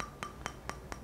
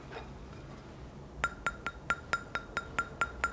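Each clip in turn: First: resin-bonded whetstone, dull plastic-like tap. Second: magnesia-bond whetstone.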